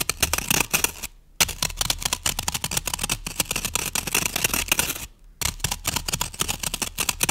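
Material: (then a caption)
Floral foam. Long nails scratch and scrape rapidly across the top of a solid green floral foam brick with an already scratched surface. The result is a dense run of crisp, dry, bright scraping strokes, with a strong tone around 2.7 kHz and very little low end. The scratching breaks off into silence twice, briefly, before resuming.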